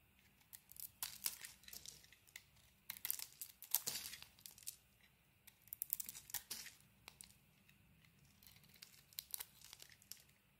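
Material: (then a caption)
Soap. A solid white bar of soap with a bronze-coated surface is held in the hand and carved with a utility knife blade, shaving it into thin, crumbly curls. Irregular bursts of crisp, bright scraping and crackling come in quick clusters, separated by quiet pauses. The cuts are dry, with almost no low end and no ring after each stroke.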